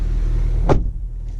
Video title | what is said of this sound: 2019 Honda Accord 2.0T Touring - A CIVIC TYPE-R FOR THE WHOLE FAMILY?! | So when you close the door, it sounds solid, absolutely solid.